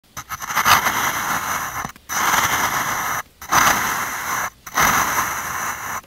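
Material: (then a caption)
Sand. A metal ice-cream scoop scrapes through packed blue-and-white kinetic sand in a small clear plastic cup held by hand, scooping out a ball of sand. Four long, gritty, hissing scrapes are heard, separated by brief silent pauses, with a bright, airy texture and little low end.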